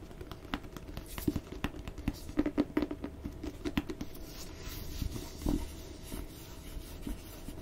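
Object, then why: Cloth-bound hardcover book cover. Fingertips and nails scratch and tap the cloth cover of a solid red hardcover book with gold lettering held in the hands. Dry, close scratching runs under a steady stream of quick, soft taps with low body and a muted texture, each dying away almost at once, with a slightly heavier thump near the end.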